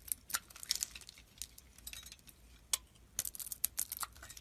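A hand-sized solid white bar of soap with a thin blue-green outer layer is held in hand and scraped and carved with a metal blade, breaking off chunks. Quiet, dry, bright crackles and crisp scrapes come in irregular bursts with almost no ring, and there is very little low end.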